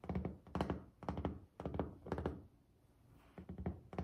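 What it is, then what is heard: Solid glazed ceramic tile countertop. Fingertips and long nails of both hands tap on a solid white glazed ceramic tile countertop, with the hands moving closer in the middle. Quick, uneven bursts of dull, low thunks and sharper clicks die away almost at once. A quiet pause near the end is followed by another burst of taps.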